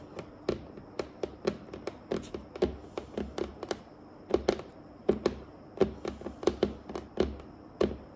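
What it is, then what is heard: Wooden table top tapped with nails. Long acrylic nails on both hands tap and scratch a solid, flat, polished dark wooden table top. Sharp, short clicking taps with a faint hollow knock come in quick irregular bursts, with soft scratching between them and a brief pause midway.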